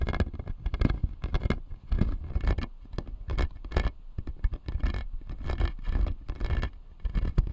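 Fingertips and nails scratch and tap the blue resin molars on the lower arch of a clear acrylic jaw model. The result is a steady stream of short, dry clicks and rough scrapes with a heavy low thump beneath them and almost no ring after each touch.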